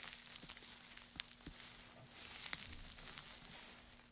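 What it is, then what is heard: Pile of dry wood shavings. Gloved hands at both sides push and crumple a heap of thin, dry wood shavings. A soft, dense, bright crackling rustle runs throughout, with a few sharper snaps and a slightly louder stretch in the second half. A faint, steady low hum sits underneath.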